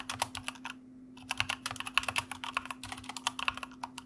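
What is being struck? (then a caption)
Mechanical computer keyboard with plastic keycaps. Fingertips of both hands type on a white mechanical computer keyboard with plastic keycaps. The result is a fast run of crisp, bright plastic clacks with a brief pause about a second in, over a faint, steady low hum.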